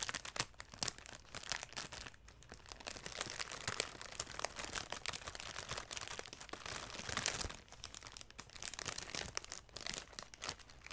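A large bundle of dried grass or broom straw, partly wrapped in clear cellophane and held beside the microphone, is brushed and crinkled with long nails and fingertips. The result is a dense, quiet stream of bright crinkling, crunching and crackling ticks with very little low end, easing off briefly near 2 and 7.5 seconds before continuing.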